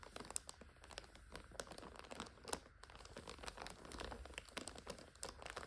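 Long acrylic nails scratch and crinkle the clear plastic overwrap of a full purple five-pack of instant noodles lying on a sofa. The result is a quiet, continuous run of dense, bright crinkles and sharp scratching ticks with a soft low rumble beneath.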